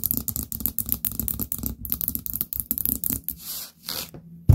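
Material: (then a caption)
Ceramic. A small orange ceramic pumpkin-shaped candle jar with a lid and gold stem knob is tapped with long painted nails. The result is a quick run of crisp, dry clicks with short bright nail ticks over a low, hollow knock. The taps are spaced by brief pauses and end with one louder knock.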